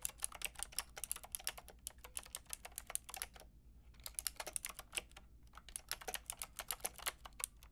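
Fingertips with long red nails tap quickly on a Lofree plastic mechanical keyboard with a plastic frame and round keycaps. The result is a stream of short, bright, clacky keystrokes that stop almost instantly, broken by two brief pauses, over a low steady hum.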